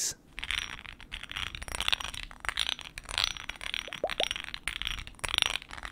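A small black grenade-style glass cologne bottle with a raised grid texture is held in one hand and tapped and scratched by the fingertips and short nails of the other. Bright, crisp ticks and dry scratching textures come in a dense, uneven stream, with a few brief squeaky chirps near the middle. Each tap stops almost instantly with no ringing.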